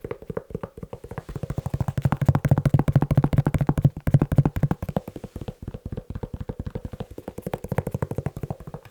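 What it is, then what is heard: Leather shoe. A leather shoe is tapped quickly with the fingers, giving a fast, uneven stream of about 70 short, dry taps with a low, muffled thud. The taps grow louder and heavier through the middle of the clip, then ease back to a lighter patter with almost no ring after each hit.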